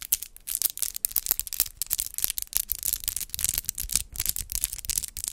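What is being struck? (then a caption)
Acrylic fingernails with rhinestones. Long white-tipped acrylic nails set with rhinestone gems are tapped against each other with both hands close to a microphone. The result is a rapid, irregular stream of sharp, bright clicks and light scratchy contacts with very short decay and little low end.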